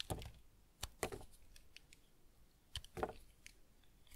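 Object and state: Bar of semi-hard tar soap being scraped.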